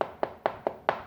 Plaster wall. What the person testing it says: hollow, because the plaster's blown